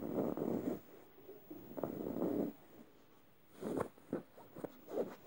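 Fingernails scratch the face and tongue area of a yellow stuffed emoji cushion made of soft plush fabric. Two longer, muffled rasping strokes come first, then a run of shorter, quicker scratches. The sound is soft and dull, sitting in the low-mid range with little brightness, with brief quiet gaps between the strokes.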